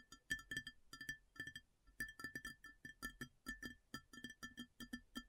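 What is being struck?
Large round ceramic plate.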